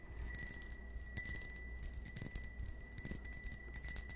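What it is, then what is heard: Cut crystal wine glass. A small, hollow, empty cut-crystal stemmed wine glass is held in the hand and tapped with fingernails. Light clinks ring out with a steady high tone near 2 kHz and bright overtones, over a low hum.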